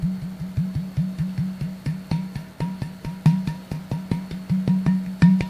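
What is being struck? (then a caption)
Empty plastic bottle. Fingertips of a flat hand tap on the open neck and top of an empty, clear, hollow plastic Sodastream bottle of about 1 liter with its cap off. A steady run of soft, hollow, low taps each gives a short resonant boom around 184 Hz that quickly fades, some with a faint higher ring.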